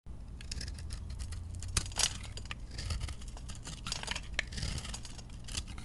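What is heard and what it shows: A metal utility blade scrapes and carves shavings off the surface of a round, solid, dry-looking bar of recycled chunk soap held in the hand. Repeated bright, crisp scraping strokes rise and fall over a steady low rumble, with a few sharper scrapes standing out.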